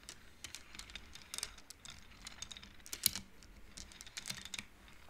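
Long nails and fingertips push the painted wooden beads of an upright wooden-frame abacus so they knock together. Quick, dry, bright clicks come in irregular bursts, each dying away almost at once, with a louder clack near the middle.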